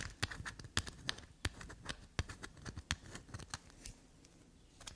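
A small solid black soap bar held in the hand is scraped and dug along its shaved surface by long black nails. The result is a quick, dense series of dry, crackly scratches and light taps that swing from a low thump to bright crisp edges, then taper off toward the end.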